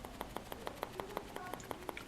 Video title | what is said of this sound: ShoutingElectronics #24 - Quick 18650 Teardown | if you shake it up and down feels like something's shaking around in there